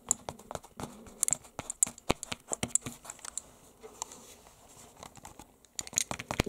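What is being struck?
Canvas book cover.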